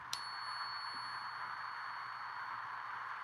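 A real silver Morgan dollar is balanced on a finger and struck once for the ring test. It gives a clear, high ping that sustains for over three seconds, the long ring expected of a genuine silver coin.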